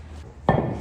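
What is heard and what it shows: A single strike on an ordinary concrete floor slab, tested as a solid reference to compare against a nearby suspect area that sounds hollow. The hit lands as a sharp, dull thud with a low body around 145 Hz that dies away within about a fifth of a second over a faint low hum. The slab sounds solid.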